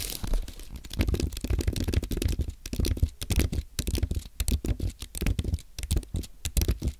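Fingertips type on a compact white aluminium and plastic Apple keyboard, producing a steady stream of soft, quick key clicks with a dull low thump under each press and faint bright ticks. The keystrokes come in uneven bursts and runs, close together, with very short decay between presses.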